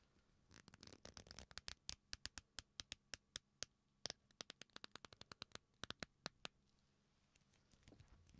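The folded ends of a black leather belt, a flat solid strap, are squeezed and rubbed with fingertips, producing a quick run of short, sharp, bright creaks that crowd together at first and then space out. The creaks stop dead with no ring, leaving a quiet low hum in the pauses before a soft rubbing resumes at the end.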